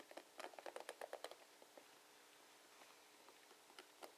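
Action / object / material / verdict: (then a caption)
scrape / plastic paddle hairbrush / plastic / none. Fingertips and nails strum along the plastic bristles of a blue plastic paddle hairbrush held sideways. A quick run of light, bright plastic clicks and ticks fills the first second and a half, then thins to scattered faint ticks, with one last sharper click near the end. Each click stops almost instantly, with a crisp midrange snap over a soft high hiss.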